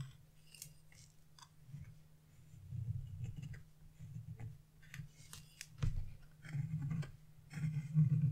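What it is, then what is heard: Scratch-art paper being scratched. A narrow chisel, held in fingers with long blue nails, scratches fine lines into the black coating of a wax-coated scratch-art page with a fan-shaped pattern. Short, dry scraping strokes come in uneven bursts with faint bright edges over a steady low hum, and the louder strokes build toward the end.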